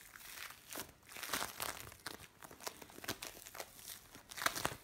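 A lump of blue bead play foam is pressed, stretched and squeezed by hands, giving quiet, irregular bursts of bright crinkling and crackling. The short, dry pops have almost no low end and no ringing, with a louder cluster of crunches near the end.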